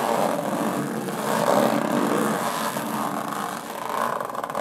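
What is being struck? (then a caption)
Aluminum carry case. Long nails scratch slowly across the textured lid of a closed, hollow aluminum carry case. The result is a steady, raspy scraping with a hollow, boxy midrange tone and almost no low end; it swells slightly in the middle and dips briefly near the end.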